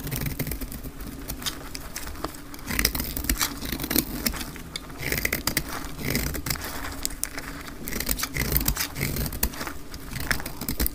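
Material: Soap.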